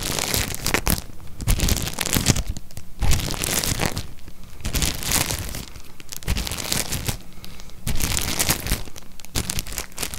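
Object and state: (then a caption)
Stack of disposable cups in plastic wrapper. A tall stack of white ribbed disposable cups, thin plastic or paper, hollow and nested inside a clear plastic sleeve, is held in one hand while fingertips squeeze and crinkle the wrapper. The result is repeated bursts of dense, bright crinkling and crackling, with soft low thumps from the hollow stack and brief quieter gaps between squeezes.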